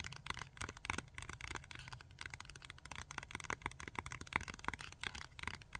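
Long fingernails rapidly tap and scratch a small rectangular plastic blister pack of Tack-It adhesive tabs. The result is a quick run of sharp, dry clicks and crinkly scrapes over a steady low background hiss.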